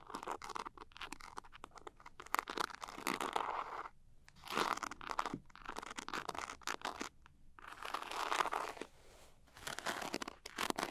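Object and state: Glitter-coated pouch scratched with nails.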